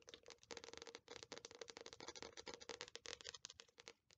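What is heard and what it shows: Long nails tap and scratch the glossy paper cover of an Attack on Titan paperback manga volume held upright. The result is a quiet, dense run of quick, bright, crackly taps and scrapes with almost no low end and a faint steady hum underneath.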